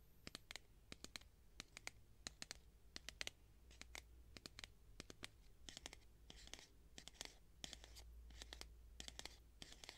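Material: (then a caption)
Plastic. Long nails tap and scratch the wall of a clear plastic cylindrical tube with a black cap, about 20 cm long and holding sponges. Quick, sharp, bright clicks arrive in a steady stream, mixed with short hissing scratch strokes over a faint low hum. Each tap dies away almost instantly, and the whole clip stays quiet.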